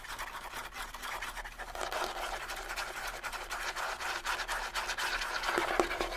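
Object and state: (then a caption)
Rawhide bongo drums. Fingernails scratch the hide heads of a pair of small, hollow rawhide bongo drums. The quiet, dry, bright rasping comes in quick, uneven strokes. Near the end, a few louder scrapes bring out a faint hollow, low-mid resonance from the drums.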